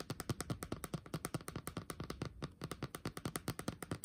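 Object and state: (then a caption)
Laptop keyboard with plastic keys. Fingertips tap fast on the upper keys of a backlit laptop keyboard with black plastic keys set in a metal body. About 35 short, dull clicks arrive in a quick, uneven patter, each dying away almost at once. The taps carry a soft, low-weighted thud with little bright edge.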